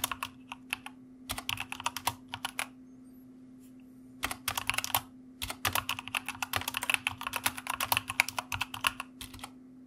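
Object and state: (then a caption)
Mechanical computer keyboard. Fingertips of both hands type on a white plastic mechanical computer keyboard. Bright, crisp key clicks come in quick bursts, with short pauses near the start and a longer one around three to four seconds in. A faint steady low hum runs underneath throughout.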